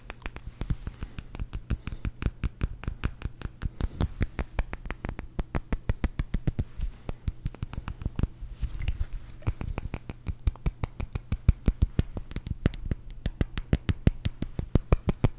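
A small rectangular glass perfume bottle with a metal cap, partly filled with blue liquid, is held in one hand and rapidly tapped by fingertips and short nails close to the microphone. About 80 quick, dry, sharp taps with a low thump follow one another in a steady patter, each dying away almost instantly. A faint constant low hum and a thin high whine run underneath.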